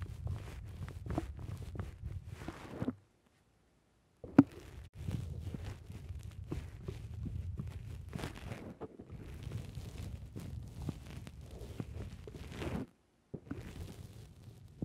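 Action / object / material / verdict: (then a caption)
scrape / foam microphone windscreen / foam / none. Fingers squeeze and pinch the soft black foam windscreen on a microphone, producing a dense, rumbling, crackling scrunch with heavy low-end and bright, papery bursts. The squishing runs nearly continuously, broken by a silent pause around 3–4 seconds that ends in a sharp pop, and a shorter pause near 13 seconds before it resumes.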